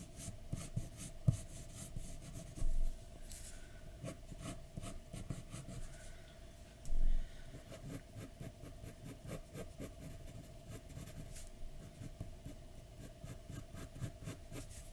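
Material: Paper.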